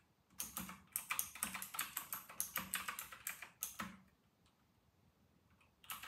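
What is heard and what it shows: Fingertips of both hands type fast on a full-size white RK960 plastic mechanical keyboard with round retro plastic keycaps. It makes a quick run of bright, clacky keystrokes with little low end. After about four seconds the typing pauses to near silence, then resumes briefly at the end.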